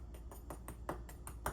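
A cooled, browned top crust on a blackberry cobbler, baked 40 minutes at 400°F until brown and bubbly, is tapped eight times. Each tap gives a short, dry, crisp click over a steady low hum. The crust sounds crisp, as it should.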